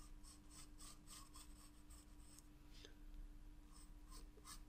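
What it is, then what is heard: Pencil shading on a sketchbook page. A wooden graphite pencil shades a paper sketchbook page resting on a table in quick, repeated scratching strokes. The strokes come as soft, bright rasping bursts over a quiet, steady low hum.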